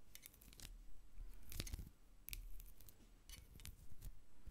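Long acrylic nails tap and scratch across the bumpy surface of a medium hobnail-textured glass jar, hollow and full of white bath salt with a plastic spoon inside. The result is a series of quiet, crisp clicks and scraping rasps with short bright edges over a soft low rumble.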